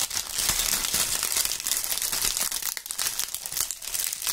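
Large dry brown maple leaves, held in fingerless-gloved hands, are crumpled and crushed by fingers near the microphones. The result is a steady, dense crackle of crisp, bright crunching with almost no low end. It comes in quick overlapping bursts that never fully stop.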